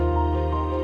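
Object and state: Nothing is struck.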